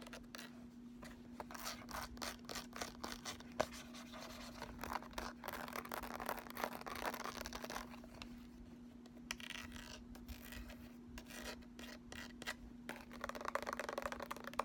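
Fingertips and nails rub and scratch over the raised texture of a small, closed cardboard eyeshadow palette with an embossed sunburst and lettering on the front. The result is a quiet, continuous rasping and scratching with many short bright strokes, over a faint steady low hum.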